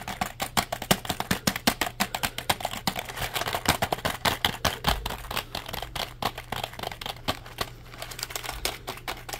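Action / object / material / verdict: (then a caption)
tap / plastic computer keyboard / plastic / none. A black plastic compact keyboard is held upright while fingertips press and tap its keys in rapid typing. Dense, sharp plastic clicks come in quick irregular bursts over a faint steady low hum.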